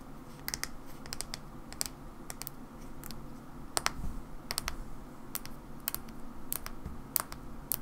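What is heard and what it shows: Long nails tap the body and white cap of a mauve plastic hair cream bottle. The taps are short, dry and bright, falling in loose irregular clusters. A steady low rumble sits underneath.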